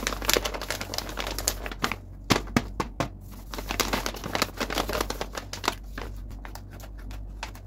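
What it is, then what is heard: Printed paper blind bag being handled. Two hands with long white-painted nails rub, tap and crinkle a flat, hollow Inside Out 2 blind bag of glossy printed paper, roughly A4 size, against a table, then lift and flex it. Dense, dry crinkles and sharp, short taps crackle over a steady low hum, with louder snaps early on before the rustling settles into quieter handling. A pet rabbit nearby may add some of the sound.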